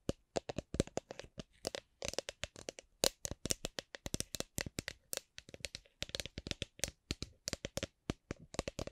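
A drink shaker is tapped gently, giving about 47 quick, separate taps in uneven bursts with brief pauses between them. Each tap is a short, dry click with a faint tone around 520 Hz and bright upper content, and it dies away almost at once.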